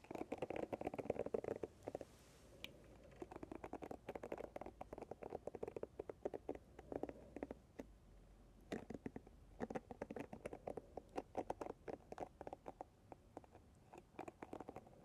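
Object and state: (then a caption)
Paddle hairbrush pins being scratched. A medium paddle hairbrush with a light wooden or plastic handle and dense pins set in a dark cushion is held up while long red nails and fingertips strum and scratch across the pin tips. The result is a quiet, dense patter of many short, dry ticks and scratches centered in the low-mid range, coming in bursts with brief pauses.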